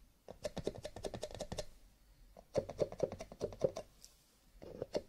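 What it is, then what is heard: Paper cup tapping. Fingertips tap rapidly on cardboard paper cups with a little light scratching, making a quick, clicky patter much like typing. The taps come in dense bursts with short pauses between them, each one dry and short with a hollow tone around 500 Hz.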